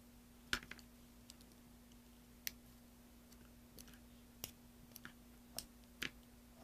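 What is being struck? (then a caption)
Bar of soap. A large solid green soap block, held in the hand, is scraped with a green-handled carving tool, producing shavings. Short, sharp, bright scraping clicks come at irregular intervals and die away almost instantly, over a faint steady low hum.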